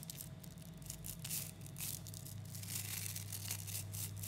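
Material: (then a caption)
Neodymium metal. Fingers stretch chains of a clump of about 11,000 small 3mm neodymium magnetic balls apart, then squeeze them back into a lump. The metal spheres click and crackle in dense, bright, irregular bursts over a steady low hum.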